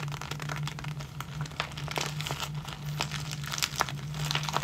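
A small clear plastic zip-lock bag full of tiny clear rubber hair bands, with a ball chain attached, is squeezed and crinkled between the fingertips and short nails of both hands. Dense plastic crinkling and sharp, bright crackles run throughout at a low, even level over a steady low hum.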